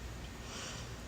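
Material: Nothing is struck.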